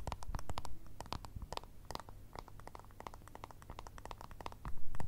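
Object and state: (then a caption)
Plastic remote control. Long red nails tap and scratch a small, hollow, round white plastic remote control with buttons. Quick, irregular, bright clicks and scrapes sit over a steady low hum, with the tapping growing louder near the end.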